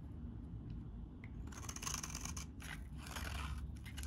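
A metal utility blade shaves crumbly curls from a solid, hand-sized, beige-tan bar of very dry soap. A steady low rumble fills the opening second and a half, then bright, crisp scraping and crackling bursts start up and continue in rough strokes until the end.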